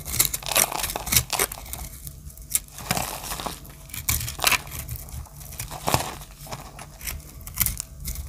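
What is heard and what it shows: A solid rectangular dry soap bar with teal and black chips is held in the hand while a small metal blade scrapes and cuts its face, crumbling the surface. Repeated dry, crisp scraping crunches with bright, tearing edges stand out over a steady low hum.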